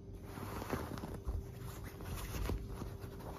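A flat hand with long black nails scratches and rubs a white, puffy quilted fabric duvet. The result is a soft, continuous, muffled scratching and rustling, weighted toward low frequencies, with little high-end brightness.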